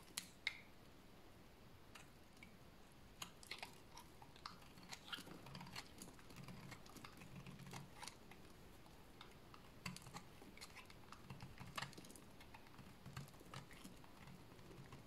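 A small solid piece of dry cream soap, held in the fingers, is shaved with a utility blade. Quiet, dry scraping and crisp clicking ticks come in irregular bursts over a soft low rumble, with brief bright snaps as shavings come off.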